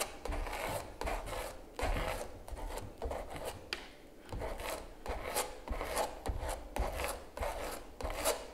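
A palette knife repeatedly scrapes and rubs texture gel across the surface of a large stretched canvas giclee print lying flat. Each stroke makes a soft, gritty rasp that swells and fades over a low background rumble, in a steady back-and-forth rhythm.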